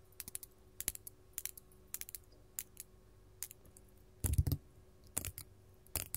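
A large solid faceted purple glass crystal is tapped with long gold metal claw nails from both hands, producing quick, dry clicks and taps with bright, high edges and a faint low hum underneath. The taps come in small clusters, with a denser, louder burst of rapid tapping near the end.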